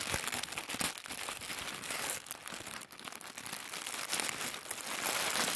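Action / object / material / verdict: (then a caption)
scrape / tissue paper / paper / none. A crumpled bundle of thin white tissue paper, held in both hands, is crinkled and squeezed with the fingertips and thumbs. It gives a steady, bright, dense crackling rustle with fast irregular crunches, carrying almost no low end.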